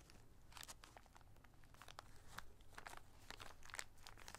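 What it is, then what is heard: Plastic zip bag of small rubber rings. A small clear plastic zip-lock bag, partly filled with many small red rings (likely rubber), is held in both hands and crinkled and squeezed with the fingertips. It makes quiet, dense, bright crinkling and crunching bursts over a steady low hum.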